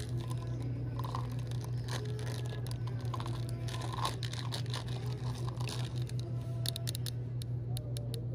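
A green-labelled Nature's Bounty cinnamon supplement bottle made of plastic and filled with capsules is held in the hand and tapped and scratched with long nails, and possibly shaken. Quick, light clicks and scratchy crinkles run over a steady low hum of store background noise.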